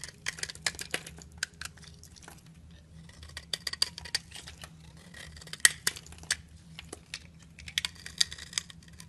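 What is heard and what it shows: A metal knife blade shaves and scrapes curls off the surface of a solid yellow bar of soap held in the hand, and the shavings fall. Crisp, bright scraping and sharp ticking cuts come in quick, uneven bursts over a faint low hum. Each cut is dry and short, with almost no ring.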